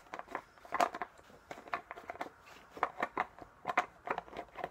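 Fingertips twist and tap the green plastic cap of a small, clear plastic drink bottle with a colourful label, hollow and apparently empty, held in one hand. Short, dry clicks and crackly scrapes come in uneven bursts, centred in the midrange with almost no low end. Each tick dies away almost instantly.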